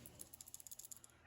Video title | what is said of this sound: Lipless crankbait BASICS for giant spring bass!! | it don't have a rattle that is the split ring rattling what you hear is the split ring